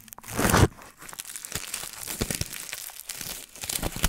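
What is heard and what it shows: A sheet of crumpled aluminium foil, wrapped around the top of a microphone and held in hand, is squeezed and crinkled with the fingertips. A loud, full crunch swells and cuts off in the first half-second. It is followed by a steady stream of sharp, bright crackles and crinkles over a close, bassy rustle.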